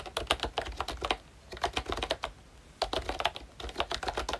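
Fingertips of both hands type on a full-size pink ROYCHE Disney Mickey Mouse retro keyboard with a plastic case, round dark green plastic keycaps and membrane switches. Quick, short clacky taps come in bursts with brief pauses between them, about 25 in all, each a dry, bright click with little ring.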